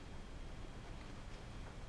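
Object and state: Nothing is struck.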